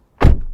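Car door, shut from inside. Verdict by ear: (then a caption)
Solid. A 2023 Toyota Prius door is shut from inside the car, giving a single deep, low thunk with a short burst of upper-range sound. The impact decays quickly into a brief low rumble, and the closing sounds solid.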